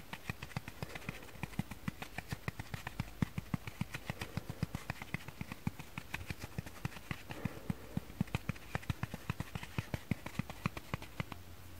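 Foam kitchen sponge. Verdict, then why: Dry. A dry foam kitchen sponge is tapped quickly with fingers and nails. It gives a long run of soft, dull taps with a low, padded thump and a faint brighter tick. Each tap dies away almost at once over a quiet background.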